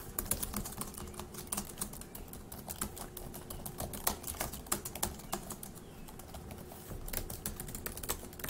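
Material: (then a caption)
Plastic. Fast two-handed fingertip typing on a dark grey laptop keyboard with plastic keys produces a quick, irregular stream of light, clicky taps. Each tap is short and bright with almost no ring, and a few harder keystrokes stand out over a quiet, steady low background hum.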